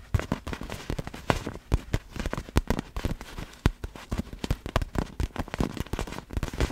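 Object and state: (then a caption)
Inflatable vinyl ball tapped with fingernails. Long black fingernails on both hands tap fast on a large, clear vinyl inflatable glitter ball that is hollow, air-filled and held in front. Quick, irregular taps produce short, dull, low thumps with a slight crackle and almost no ring.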